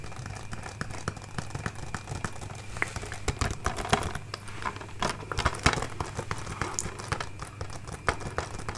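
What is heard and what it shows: Long nails tap and scratch the front and back of a closed, hollow, hand-sized plastic DVD case with a printed paper cover, a Scott Pilgrim collector's edition. Quick, dry clicks and crinkly scraping patter on steadily over a low, constant hum, with a few sharper, louder taps standing out.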